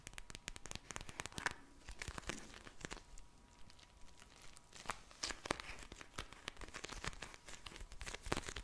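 Long nails and fingertips tap and scratch a pink vinyl gel bead eye mask, a soft filled pouch, making rapid crinkly, crackling clicks and scratchy rustles. Sharp bright taps come in dense bursts, with a quieter scratching stretch in the middle, over a faint steady hum near 1 kHz.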